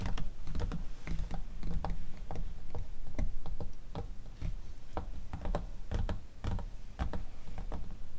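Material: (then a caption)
Glossy paper. Long teal acrylic nails tap and scratch the pages of an open, thin glossy paper cosmetics catalog magazine lying on a fluffy rug. Quick, irregular crisp clicks and taps mix with soft papery scratching over a steady low rumble. The sound is a dense, continuous patter of short, sharp nail strikes on paper.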